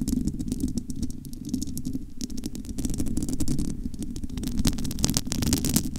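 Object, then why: Metal wire-mesh microphone grille. Long almond nails scratch and cup the bare, hollow domed metal wire-mesh grille of a large studio microphone. The result is a dense, rumbling low-end hum from about 100 to 300 Hz, with many quick, bright scratchy ticks over it. The sound is continuous and steady throughout.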